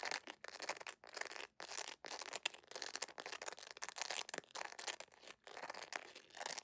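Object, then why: PVC jelly sandal sole. A beige PVC jelly sandal with a bow and thin straps is held in the hands while its textured sole is scratched and tapped fast with long acrylic nails. Dense, bright, dry scratching and clicking comes in quick bursts separated by brief silences, with almost no low end.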